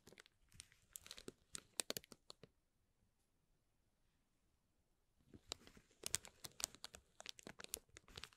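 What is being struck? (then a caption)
Tissue-paper honeycomb ball. A dark metal tool pokes and scrapes between the thin folded cells of a hollow green tissue-paper honeycomb ball. Quick, bright paper crinkles and crackles fill the first two and a half seconds, then fall to near silence for about three seconds. A second, denser run of crisp crinkling starts at about 5.3 seconds and continues to the end.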